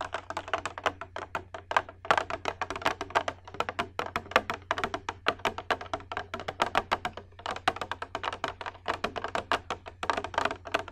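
Long red nails tap rapidly and continuously on a hollow, empty clear glass bowl with a rim, held up in front of the face. The taps are short, bright clicks centered around 1 kHz, over a faint, steady low hum.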